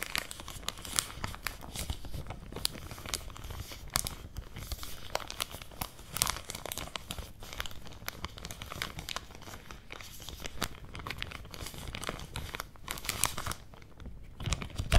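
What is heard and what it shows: A medium clear plastic zip-lock bag full of folded swimwear is held in both hands close to the mic while fingertips and painted nails crinkle and squeeze it. Dense, steady crackling and crinkling fills the clip, with brief sharp high snaps scattered over a low rustling body.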